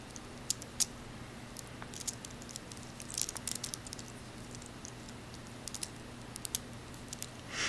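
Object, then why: Necklace of glass beads and metal tubes. A necklace of amber-yellow glass beads and silver bugle tubes is stretched between fingertips and twisted, so the beads and tubes rub and click together. Scattered bright, tiny clicks and soft rustles sound over a steady low hum, ending in a louder brushing swell.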